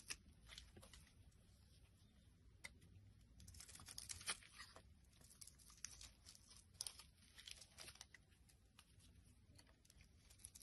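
A solid rectangular white soap bar, held in the hand, is scraped with a small black blade, and flakes fall onto a wooden surface. The sound is a quiet, steady, dry scraping with bright crackles and sharp little ticks as the blade cuts, plus a soft low rustle underneath.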